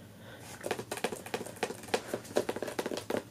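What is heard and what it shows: Long natural nails and fingertips of both hands tap and scratch the front cover of a medium hardcover book, "Touch the Earth," whose glossy paper dust jacket is solid and closed as the book lies flat on a fabric couch. After a quiet lead-in, a quick run of separate, crisp clicky taps starts, each with a midrange body near 600 Hz and a bright papery edge. The taps die away almost instantly over a soft, low hiss.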